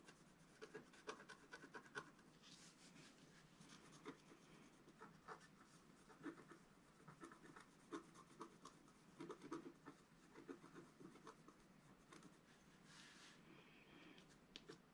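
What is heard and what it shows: A flat black coated scratch art paper sheet lies on a table, held down by a flat hand, while a wooden stylus scratches at its upper right. Quiet, dry scratching strokes come in short bursts with brief pauses, some sharper and louder than others, with a faint steady low hum underneath.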